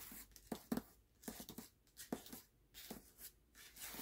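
Short nails and fingertips quickly tap and scratch over the glossy paper dust jacket of a closed hardcover book resting on a black cloth. Soft, dry, papery taps with a low body come in uneven bursts, separated by faint scratchy hiss and brief near-silent gaps. The sound is quiet and close, with no ringing after each tap.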